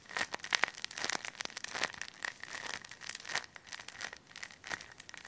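A hand-sized, clear, thin plastic bag packed full of soft white polyester fiberfill is squeezed and crinkled with fingertips and short nails close to a mini mic. It gives a dense, bright, crackling crinkle made of many quick sharp bursts, with a faint steady tone near 1.9 kHz and almost no low end.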